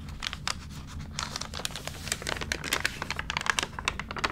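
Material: Paper.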